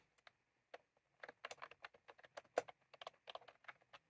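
Both hands type continuously with the fingertips on a plastic mechanical keyboard with round keycaps, tapping the keys. About 18 short, quiet, dry clicks come in an uneven rhythm, centered around 500 Hz with bright edges and almost no low end.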